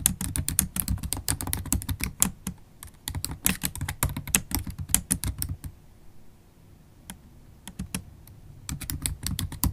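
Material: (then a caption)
Plastic. Long stiletto acrylic nails and fingertips type continuously on a MacBook Pro keyboard, with black plastic keys set in an aluminum laptop body. Rapid, bright clicking taps come over a soft low thud from each keystroke, then thin out to a few scattered taps around the six-second mark before quick typing picks up again at the end.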